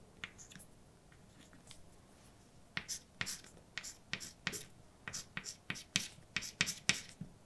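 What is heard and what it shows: A hand writes words with a white chalk stick on a large, flat, dark painted blackboard with a solid surface. A few faint scratches give way, after the first few seconds, to a steady run of short, bright scratching and tapping strokes. Each stroke is crisp and dies away almost instantly.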